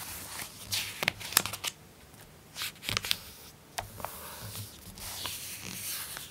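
An open glossy paper magazine has a page turned and then rubbed flat with fingertips and nails. It gives a bright, dry paper rustle of soft sweeps and sharp crisp ticks that stop with no ring. Quieter hissy brushing fills the gaps between them.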